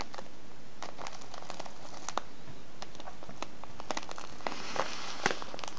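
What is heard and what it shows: A small brown kraft paper tea bag with a clear plastic window, filled with loose tea, is squeezed and crinkled with fingertips. The result is a steady, quiet stream of dry crinkling and crackling, with sharp snaps scattered throughout that reach up into bright high tones. A few of the snaps stand out louder toward the end.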